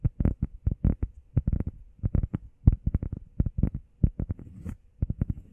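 Long painted nails and fingertips tap and scratch fast on a flat, solid, grey textured EVA foam workout pad shaped like a heart, about hand-sized. About 28 quick taps land as dull, deep, dry thuds with no ring, with a brief soft scratch near the end.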